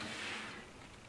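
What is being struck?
Nothing is struck.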